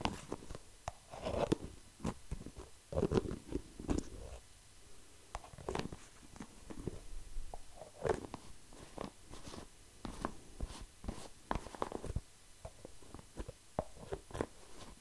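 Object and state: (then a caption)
Plastic jar tapped and scratched. An orange and white plastic hair mask jar with an orange lid, likely full, is tapped and scratched on its lid and sides with fingertips. The quiet, irregular taps are dull and short with no ring, weighted toward the low end around a muted mid-low tone. Soft scratching fills the gaps between them.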